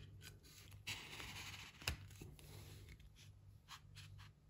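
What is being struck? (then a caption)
Pine wood stretcher bars. Light pine canvas stretcher bars, solid wood strips about a hand's width with mitred slotted corners, are held in both hands and pressed and slid together at the joint. Wood rubs and scrapes on wood with a bright, dry texture under the fingers and palms, broken by a few short, sharp knocks over a low, steady hum.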